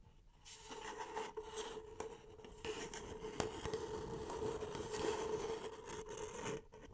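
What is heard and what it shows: Long painted nails scratch and tap the side and base of a small, hollow, empty beige paper cup held upside down in both hands. Dry, bright scraping and rubbing runs almost continuously, with a few sharper taps, over a steady mid-pitched resonant tone from the cup.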